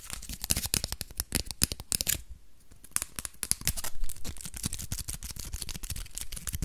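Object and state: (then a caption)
Crumpled aluminium foil ball. A small crumpled aluminium foil ball, held close to the camera, is crinkled and rubbed between the fingertips. Dense, rapid crackles with a bright, sharp edge ride over soft low thumps from handling. The crackling eases briefly just past the two-second mark, then picks back up and continues steadily to the end.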